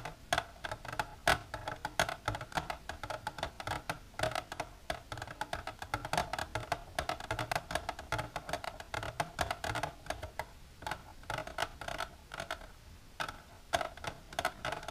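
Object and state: Plastic container tapped with nails.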